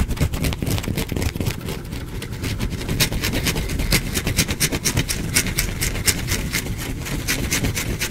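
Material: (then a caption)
Soap. A small, solid, pale bar of soap is held close to the microphone and scraped with fingernails, with flakes falling onto a cloth. Rapid, uneven scratching strokes come as bright, crackly bursts over a steady low rumble, at roughly two strokes per second.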